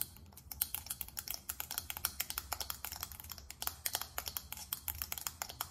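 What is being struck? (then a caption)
Small faceted glass perfume bottle tapped with long nails. Long acrylic nails tap quickly on a small faceted glass perfume bottle. The result is a fast, dense run of dozens of sharp, bright clicks with almost no ring, over a faint low rumble.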